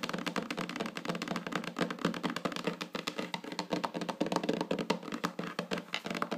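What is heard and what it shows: Long natural fingernails on one hand tap rapidly on a flat, solid wooden tabletop lit by a candle, with the candle jar beside it left untouched. A steady stream of quick, crisp clicks and taps is heard, each one short and dry with little ring, overlapping into a busy, continuous patter.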